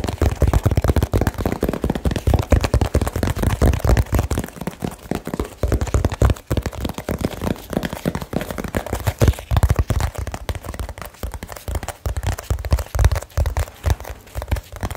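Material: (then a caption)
Cardboard. A small, closed cardboard box sealed with tape is held in both hands and tapped and scratched very fast with fingertips and nails. The result is a dense, continuous stream of dry, muffled thumps, heavy in the low end and quickly damped, with faint crinkly rustle from the tape or paper.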